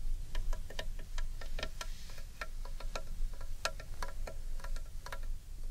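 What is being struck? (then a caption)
Large carved wooden bowl. Long painted nails tap rapidly and irregularly on the outer surface of a large, hollow carved wooden bowl held upright in one hand. Each tap is a short, bright click with a brief hollow ring, giving a light, chime-like clatter. A low, steady rumble runs underneath the whole clip.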